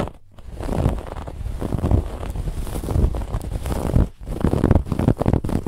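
Both hands scratch with their nails at a raised brown-and-white woven lattice fabric band on a soft white cushion. The result is a dense, low, rumbling scratch that is heavy in the bass and carries little high end. It pauses briefly near the four-second mark, then resumes with sharper bursts.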